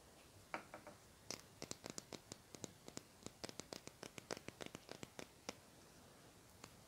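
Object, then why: Plastic highlighter pen. A small, hollow lilac plastic highlighter with a black cap, held in one hand, is scratched with fingernails. It makes a quick, irregular series of short, dry, bright scratching ticks that stop abruptly, with quiet hiss between them.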